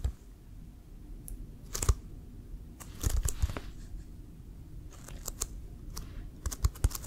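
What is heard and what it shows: Fingernails scratch and fingertips tap on a hollow, inflated brown leather American football with a white stripe. Irregular soft taps and brief scratchy bursts, some with bright clicky edges, sit over a low, dull rumble. Each sound dies away almost instantly with no ring.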